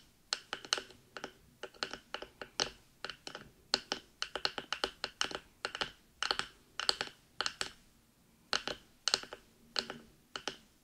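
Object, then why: Silicone binaural microphone ears tapped with fingernails. Long nails rapidly tap and scratch the top and ear area of a black binaural microphone fitted with silicone ears. About forty crisp, dry clicks and scrapes come in quick bursts and irregular clusters, bright and high-pitched with almost no low end. Each one stops almost instantly, with short pauses between the flurries.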